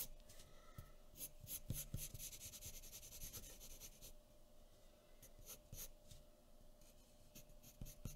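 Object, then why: Graphite pencil on a thin paper sheet over a wooden table. A graphite pencil, held short in the fingers, scratches small quick strokes across a thin sheet of white drawing paper resting on a wooden table. The strokes come as dry, bright rasping bursts at an uneven pace, over a faint steady hum that runs underneath throughout.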